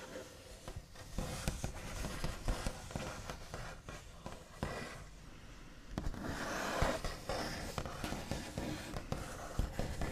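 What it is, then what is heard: Wooden table top, nail taps and scratching. The backs of the nails of both hands tap and trace across a large, solid, smooth, light-coloured, white-finished wooden table top. Quick, dull, low-heavy taps mix with a scratchy rasp of nails dragging over the surface. A softer stretch in the middle gives way to louder, busier scratching and tapping toward the end.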